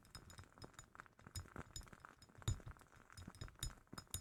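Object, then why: Glass candle jar. A glass jar holding a woodwick candle is tapped in an irregular series of quiet clinks and taps. Each tap gives a brief bright glassy ping over soft, low knocking thuds, decaying quickly.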